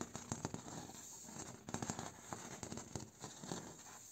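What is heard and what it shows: A bamboo door is tapped, traced and scratched. Crisp, dry taps with almost no ring come in irregular bursts over a steady, bright scratching and rustling texture.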